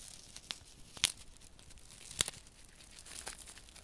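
Fingertips rub and scratch a small flat paper desiccant sachet filled with silica beads, held in one hand. Bright, dry crinkling and scratchy tearing-like sounds come in a few sharp bursts over a soft, steady rustle.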